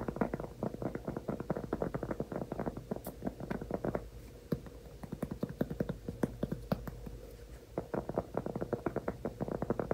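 Fingertips and nails tap and scratch a large, solid, flat round cork trivet held upright in both hands. The result is a fast, dense run of soft, dull, short taps with a muted low-mid body and little brightness. Quieter scratchy stretches come around the middle and again near the eight-second mark, over a faint steady low hum.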